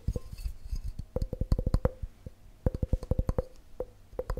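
A clear, empty, hand-sized glass measuring cup with red scale markings is tapped fast with fingertips and short nails all over its sides and base. About two dozen quick, dull taps with low thumps and a faint glassy ping come in two rapid bursts. Each tap dies away almost at once.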